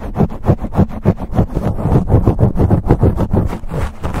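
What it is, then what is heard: Foam microphone windscreen being scratched. Fingertips of both hands scratch and rub fast on a black foam windscreen over a silver USB microphone. The result is rapid, uneven bursts of dull, low, rumbling scraping, about three per second, with almost no high-end content.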